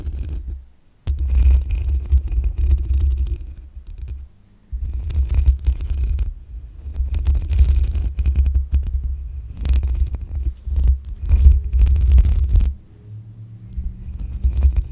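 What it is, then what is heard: Metal microphone mesh grille being scratched. Long acrylic nails scratch the black metal mesh grille on the hollow head of a desktop condenser microphone. This makes a deep, booming low rumble with rapid scratchy crackle on top. The bursts of scratching are broken by short quiet pauses, and a softer rubbing stretch comes near the end.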